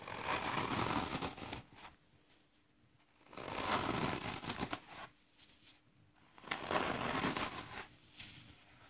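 A palm-sized slab of dry, porous green floral foam with oval finger holes is held in both hands over artificial grass while fingertips press into and crush it, breaking off crumbly pieces beside a loose pile of foam crumbs. Three broad bursts of crisp, airy crunching and crumbling are heard, with faint crackles in the quiet gaps between them.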